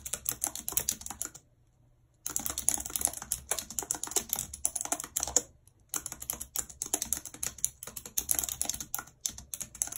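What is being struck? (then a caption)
Plastic computer keyboard keys struck by long nails. A full-size white and silver plastic computer keyboard with a numeric keypad, lying on a map, is typed on quickly with very long red acrylic nails and fingertips. Its hollow keys give dense, bright, clicky taps. The typing runs in continuous bursts broken by two short pauses.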